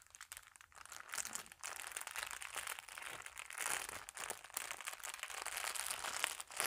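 An empty, thin clear plastic packaging sleeve is held in both hands and crinkled, rubbed and rolled with fingertips and long nails. The result is a continuous, bright crinkling and crackling with dense, sharp high-frequency detail and almost no low end, rising and falling softly throughout.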